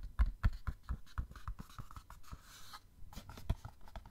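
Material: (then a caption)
Cardboard. Fingernails scratch and tap on a small, hollow printed cardboard gift box. The result is a quick, irregular series of dry, short taps with a low hollow thump. Soft scratchy rustling fills the gaps, and a brief brighter scrape is heard in the middle.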